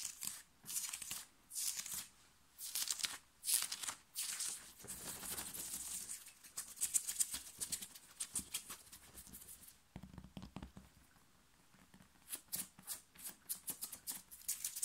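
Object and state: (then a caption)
Cotton t-shirt being scratched. Fingernails scratch fast and hard across the chest and shoulders of a thin, worn, light blue cotton t-shirt. The sound is a bright, hissy fabric rasp with almost no low end, coming in quick bursts and longer continuous strokes, with a quieter pause before the scratching resumes.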